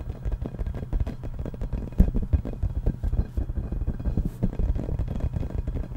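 Fingertips tap and nails scratch the surface of a yellow, hollow, inflated rubber playground ball with a giraffe print, held close to the mic. A rapid, uneven stream of soft, hollow low thumps dominates, with light scratchy texture between the taps and a few sharper knocks standing out.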